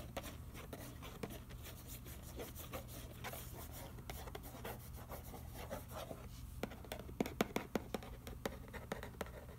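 Fingertips and fingernails scratch and trace across the front panel of a hollow, printed cardboard macaroni and cheese box lying on newspaper. Soft, dry scraping and rubbing continues throughout over a steady low hum, with sharper, brighter scratches and clicks standing out toward the end.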